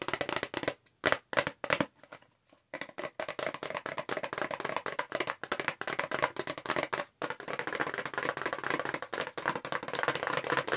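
A long, narrow, light-blue hollow paperboard makeup brush box is held up and fast-tapped with long acrylic nails. Rapid, dry, crisp clicks and taps pour out in dense bursts with a hollow papery midrange and only brief pauses between flurries.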